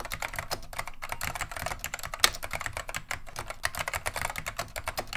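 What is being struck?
Plastic mechanical keyboard.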